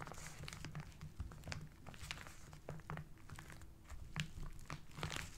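The fingertips and short nails of both hands rub and crumple the brown kraft paper wrapping on a rectangular parcel. The result is a steady run of dry crinkling and crackling, with sharp bright snaps over a low, constant hum.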